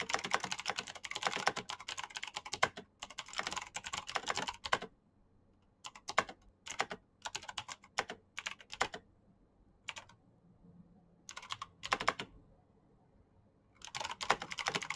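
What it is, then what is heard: Plastic mechanical keyboard. Fingertips type on a black Razer mechanical keyboard with plastic keycaps and green switches, producing bursts of rapid, bright, clicky keystrokes separated by short pauses. Each click is crisp with almost no ring or low end, and the typing rhythm stops and restarts throughout.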